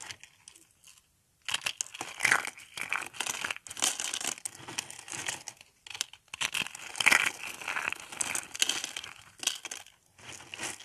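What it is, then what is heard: Dry soap sheets crushed into flakes. Thin, ridged sheets of dry pink soap are crushed into flakes between fingers. The result is dense, dry, bright crackling and crunching in bursts separated by brief pauses.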